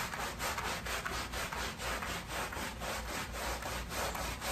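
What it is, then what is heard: Woven pile rug being scrubbed wet. A wet, foamy patterned woven pile area rug lying on a plastic sheet is scrubbed with a wooden-handled black bristle push brush. Steady back-and-forth strokes make a continuous broadband rasping, scratchy sound with a bright, hissy top.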